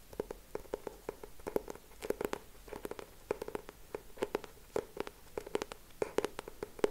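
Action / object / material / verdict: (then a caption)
tap / cardboard hardcover notebook / cardboard / none. Fingertips and short nails tap and scratch the cover of a closed, medium purple hardcover notebook with a purple cardboard cover and a yellow frame design, held in both hands. Quick, dry taps with a hollow midrange knock around 420 Hz come in an irregular stream, some with bright clicky edges, mixed with faint scratchy rustling between them. Each tap dies away almost instantly.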